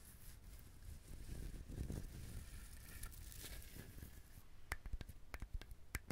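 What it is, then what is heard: Dried husked coconut. A whole dried, husked brown coconut with a rough fibrous surface is held in the hands while fingernails scratch and tap it close to the mic. Soft, low scratching and rubbing fill the first four seconds, then a run of sharp, dry taps follows, each ending almost instantly.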